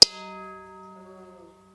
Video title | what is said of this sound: Profoto Live - Holiday Fun | have a beautiful ring to it if you hold the rubber part and knock it once